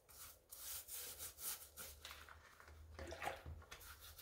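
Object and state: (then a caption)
Rubber sneaker sole being scrubbed. A gloved hand holds a light pink tennis shoe above soapy water while a wooden-handled brush scrubs its wet white rubber/foam sole and edge. Quiet, bright, hissy bristle strokes rise and fade in quick rhythmic passes over a faint low hum.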